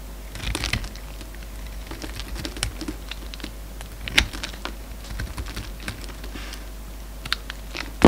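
A steel utility-knife blade carves and shaves a solid, hand-sized orange soap bar held in the hand. Dry, crisp scraping and crunching strokes come at an irregular pace, with a few sharper, louder cuts standing out over a faint steady low hum.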